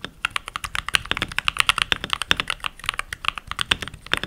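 Fingertips with short nails, rings on the fingers, type continuously on a full-size backlit mechanical keyboard with pink plastic keycaps. About thirty quick, bright plastic clacks come in a steady, uneven rhythm, each dying out almost at once. The clicking sits mostly in the upper range, around 2.8 kHz, with very little low thump.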